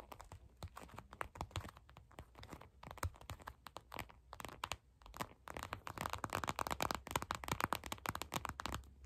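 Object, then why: Plastic eye mask filled with gel beads. Long acrylic nail tips tap rapidly on a glittery purple gel bead eye mask in clear plastic, lying flat. The taps sound crisp, crinkly and crunchy, with short dry clicks and no ring. They grow denser and a little louder in the second half.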